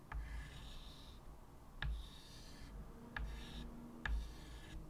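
White chalk held in the fingertips draws curved lines on a medium, flat, solid chalkboard with a wooden frame lying on a table. Four separate chalk strokes start with a sharp tap and continue as a bright, scratchy rub over a low, steady hum.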